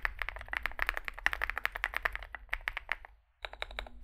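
Two hands type with their fingertips on a Zoom65 65% mechanical keyboard resting on a desk mat, with a dark metal case (likely aluminum), white and grey SA-profile plastic keycaps and lubed switches. Rapid, dry key taps clack with a bright midrange tone and very short ring. The typing pauses briefly near the end before a few final, slightly higher clicks.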